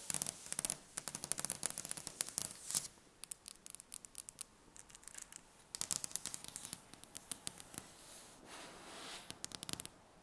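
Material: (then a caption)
Wood. Long painted fingernails of both hands tap and scratch across a large, solid, polished wooden table top. Quick bursts of sharp, bright clicks with almost no ring come in dense clusters, broken by quieter stretches of soft scratching and a brief hiss-like rub near the end.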